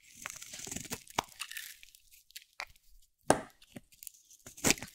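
A metal box-cutter blade carves thin slices off a hand-held, solid cream-white bar of dry soap with a teal rim. Soft, bright scraping shavings give way to irregular, crisp crunchy cuts and sharp snaps, with brief quiet gaps between strokes.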